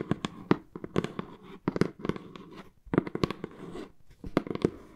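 Long nails and knuckles scratch and tap on a hollow brown corrugated cardboard box printed with AMY. Clusters of sharp, dry taps with a low, hollow body ring out between scratchy rustles. Each tap stops almost at once, and the groups are separated by brief quiet gaps.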